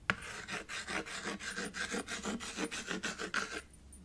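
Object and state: Chalk scraping on a slate chalkboard.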